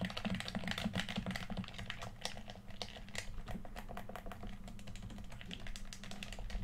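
A hollow red plastic PS4 controller is held in both hands while fingertips rapidly click its buttons. The clicks come as a quick, irregular stream of short, sharp ticks with bright edges over a steady low rumble.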